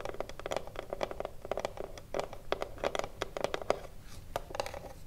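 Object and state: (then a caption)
Wooden cigarillo box tapped and scratched with fingernails. Long blue nails tap and scratch along the top edge of a small hollow wooden cigarillo box. The result is a quick, uneven run of short, dry clicks with a hollow woody tone around 600 Hz. Each one dies away almost at once, with soft scraping between the taps.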